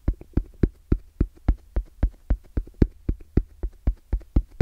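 Fingertips tap fast on the face of a small, closed, hollow black zippered EVA hard-shell case with orange trim and a fabric-covered shell. The case gives about nineteen short, dull, low thumps in a quick, slightly uneven rhythm. Each tap dies away almost at once.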